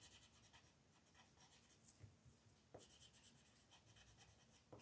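A purple colored pencil, held by a hand with long red nails, rubs shading strokes over the bats on a thin paper coloring book page lying flat on a wooden table. The result is a quiet, continuous, bright scratchy rustle with a soft low undertone, broken by a few slightly louder strokes.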